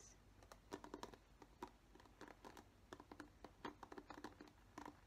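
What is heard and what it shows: Long nails tap and scratch the plastic bristles of a black plastic paddle hairbrush held up close, making a quick, uneven run of soft, dry clicks and scrapes. The clicks are short and crisp, centered in the low-mid range with brief brighter edges, over quiet background noise.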